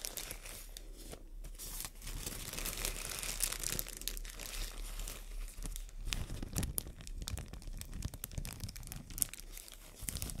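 A thin, empty white matte plastic bag is held in both hands and crinkled and folded with long nails. Dense, continuous crinkling and crackling is heard, with bright, sharp snaps and soft, rustling tearing-like textures throughout.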